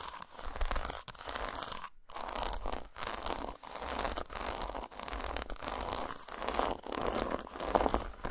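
Long nails scratch and tap a solid, segmented dark chocolate bar lying flat on a towel. Dry, crinkly scratching rasps come in quick bursts, broken by short, sharp taps and brief pauses, over a soft low undertone.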